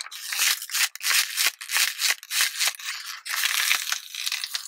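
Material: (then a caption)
Plastic. A small, clear, thin plastic water bottle with a blue label, already crushed, is held in the hand and shaken and crinkled. It makes irregular bursts of bright, crackling crinkles with sharp snaps and almost no low end. The bursts come in quick uneven waves, separated by brief pauses.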